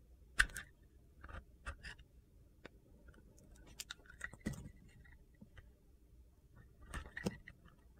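A metal utility knife blade shaves the edge of a solid white Ivory bar soap with a gold glitter side, peeling off curls. A series of short, crisp scraping clicks with a bright, gritty edge rises from a quiet background, each stroke dying away almost at once.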